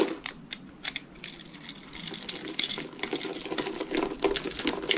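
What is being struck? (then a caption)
Bar of soap cut with a knife blade. A utility knife blade cuts and scrapes small cubes off the scored surface of a solid, rectangular, hand-sized green bar of dry soap held in one hand, with flakes falling off. Rapid, irregular, dry crunches and scratchy clicks sound with a bright, crisp edge and almost no low end, each snap dying away instantly.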